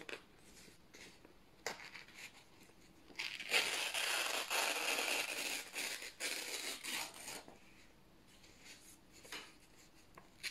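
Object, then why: Printed office paper sheets. Both hands grip thin white printed office paper sheets and slowly tear them in half. A few faint crinkles and small sharp rips lead into a long, louder, bright ripping tear lasting several seconds, which then fades back to quiet crackling and light paper rustles.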